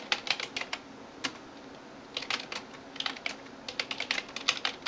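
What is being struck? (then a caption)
Plastic computer keyboard. A hand types rapid taps with fingertips and nails on the keys of a backlit plastic computer keyboard, about twenty bright, dry clicks. A short burst of taps and a lone click are followed by a quiet gap, then denser runs of typing. Each tap stops almost instantly, with no low-end weight.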